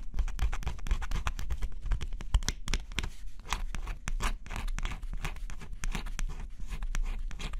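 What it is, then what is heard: Scratch-off coated cardboard puzzle. A stylus held in the fingertips scratches the coating of a flat, thin cardboard scratch-off jigsaw puzzle, heard close-up. Quick, dry scratching strokes follow one another in a steady, uneven rhythm, each a short, bright rasp over a heavy low rumble.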